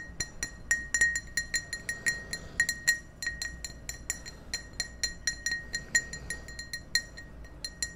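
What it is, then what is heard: Empty drinking glass. An empty, hollow clear ribbed drinking glass is held close to the microphones and tapped with fingertips and nails in a quick, uneven series of light taps across the whole clip. Each tap gives a bright, glassy clink with a clear tone near 1.9 kHz and high overtones that fades almost at once over a faint low hum.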